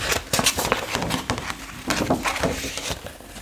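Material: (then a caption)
Paper. Long acrylic nails tap the edges and surface of a retro paper fashion magazine held open to its colour photo pages. The result is a run of quick, crisp, bright clicks over a soft crinkly paper rustle, each tap dying away almost at once.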